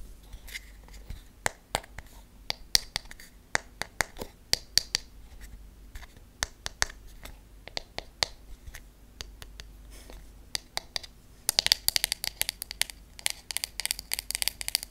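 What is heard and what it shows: Long nails tap on the wooden back of a wooden hairbrush with wooden pins, making quick, dry, bright clicks with almost no ring over a faint background hiss. The taps come in irregular bursts through the clip, and from about 11.5 seconds they grow denser and brighter, closing in a rapid flurry.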